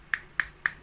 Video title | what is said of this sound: Tips Membedakan Charger Samsung S20 A70 A71 A80 S10Lite Note 10 S20 ultra ORIGINAL DAN KW 1 2 | ini kalau diketuk dia akan kopong